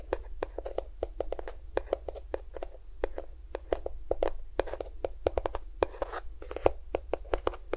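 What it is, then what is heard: Plastic lotion tube. A small, hollow, cream-yellow plastic squeeze tube of lotion, at least partly filled, is held close to the recorder and tapped and scratched with fingernails. It makes a rapid, irregular run of short, dry clicks with a faint hollow tone around 520 Hz. Soft scratchy rustle fills the gaps, over a steady low hum.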